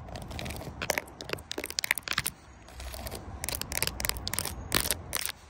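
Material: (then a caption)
Rubber. Long nails and fingertips tap and scratch across a flat black rubber or plastic mat covered in small raised round bumps, outdoors. Bursts of crisp, bright crackling scrapes and clicks come in quick clusters, separated by brief pauses over a low rumbling background.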